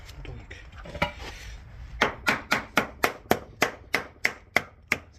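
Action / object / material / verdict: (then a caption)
tap / cement repair patch on a terrace / cement / hollow. A previously repaired cement patch on a leaking terrace is tapped 12 times, first once on its own and then in a quick, steady run of sharp, short, bright knocks over low background noise. The patch sounds hollow and moves completely, meaning it has come loose, so the whole section is to be redone with bitumen fully bonded over it.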